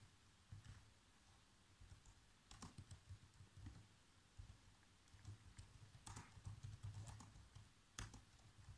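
Fingertips type on black plastic laptop keyboard keys, producing soft, irregular taps and clicks with short bright transients. The taps come in loose bursts over a steady low hum.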